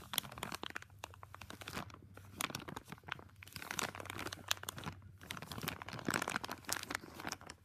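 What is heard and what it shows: Fingertips fold, press and crinkle a thin clear plastic bag wrapped around a small flexible tripod. Dense, bright crackling and sharp crinkly snaps come in bursts with brief quieter pauses, and each sound dies away almost instantly.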